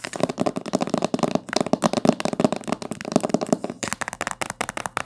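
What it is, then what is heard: Cloth-bound hardcover book. Long fingernails tap and scratch fast across the spine and top cover of a thick, dark blue cloth-bound hardcover book. The result is a dense run of quick, dry clicks and scratchy rustles with a hollow body around 230 Hz, little low end, and almost no ring after each tap.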